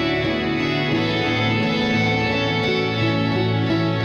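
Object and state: Nothing is struck.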